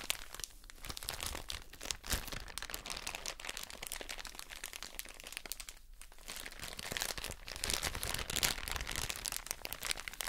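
A soft plastic drawstring bag full of cotton wool pads is crinkled and scratched with long nails. It gives a steady stream of dense, bright crinkling and scratchy rustles at a quiet level, with brief pauses near the start and around the middle.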